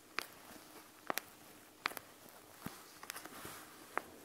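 Long nails tap and scratch on the beaded front of a panda gel bead eye mask, a clear plastic shell full of gel beads, as it is held and tilted. Nine sharp, bright clicks stand out above a faint, steady hiss, each stopping almost instantly. Softer scratching fills the gaps between them.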